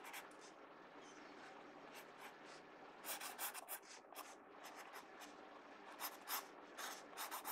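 A pencil tip rubs shading strokes across the page of an open paper sketchbook. A quiet, steady papery hiss is broken by irregular bursts of brighter, scratchy back-and-forth strokes, with little low-end weight.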